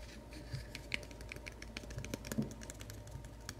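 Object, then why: Small wooden box. Short fingernails scratch and rub a small, light plywood craft knife box, closed and hollow, held in the hands. It makes quiet, rapid, dry clicks and scrapes with bright ticks near 2 kHz and a soft hollow low thump, much like light typing. Each tick dies away almost at once.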